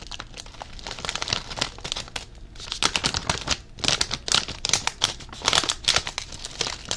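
A blue Covered Bridge potato chip bag made of plastic foil and full of chips is held up and crinkled with the fingertips. It gives dense, bright, crackling crinkles in quick overlapping bursts that swell and fade, with little low end.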